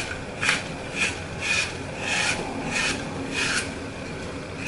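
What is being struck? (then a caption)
Glitter-coated phenolic floral foam block. A hand-sized, solid block of green phenolic floral foam with a glittered Mickey Mouse picture on one face is held in one hand while the thumb and fingertips press into its edge, crushing and breaking it off, with crumbled green foam pieces lying beside it. About six crunchy, rasping bursts come at a loose, uneven pace, each a dry, bright crackle over a steady low hiss.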